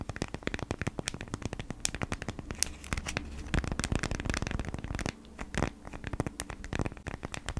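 Long nails scratch across the surface of a folded beeswax-coated cotton food wrap held flat, producing dense, crisp scratching and crinkling with sharp, bright ticks over a low rumble. The scratching briefly grows quieter around the five-second mark, then picks up again until the end.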